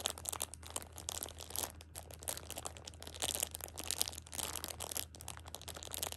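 A hand holds a plastic-wrapped six-pack of pocket tissues at the edge and squeezes, crinkling the plastic wrap. Dense, bright crackling and crunching comes in uneven bursts for about six seconds, over a faint steady low hum.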